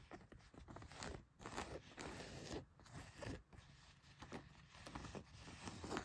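Fingernails scratch the back pocket and leg of a pair of blue denim jeans. The result is a quiet, continuous run of rough, papery rasps with bright hiss and a soft low rumble, swelling and dipping as the strokes change.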